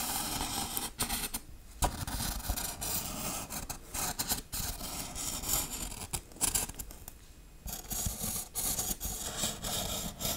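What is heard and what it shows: Long acrylic nails tap and scratch the textured surface of a large grey-black foam Halloween tombstone prop, hollow-looking with raised RIP lettering and a cross, held upright. Dry, bright scraping and rubbing fills the clip, broken by short, sharp taps and two brief quiet pauses.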